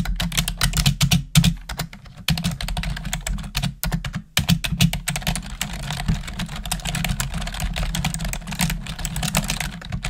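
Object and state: Plastic computer keyboard being typed on.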